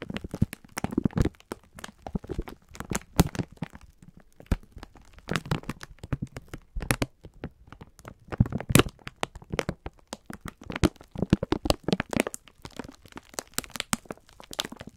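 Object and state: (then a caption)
Plastic-wrapped sponge scourer pack. A full, soft pack of sponge scourers in clear plastic wrap is squeezed and crinkled by fingertips and thumbs. The film gives off dense, irregular crackles and crunchy rustles in quick bursts, with a soft, low body under the bright crinkling throughout.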